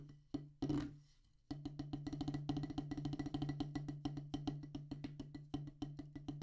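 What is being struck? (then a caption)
Rubber practice pad on a wooden base. A solid black rubber drum practice pad on a wooden base is tapped with two wooden drumsticks. A few scattered taps and a brief, noisier burst come first, then a short pause before a fast, dense run of short, dry taps. Each tap has a woody knock around 280 Hz over a steady low hum.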